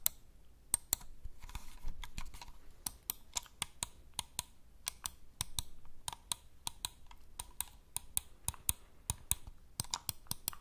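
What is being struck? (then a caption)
Plastic computer mouse. A hand-sized white and grey plastic computer mouse with a hollow shell is held near the mic while its buttons are clicked and its surface is tapped with fingertips. About 36 sharp, dry, bright clicks sound in an irregular rhythm, each dying instantly, with softer rustling taps between them over a low background rumble.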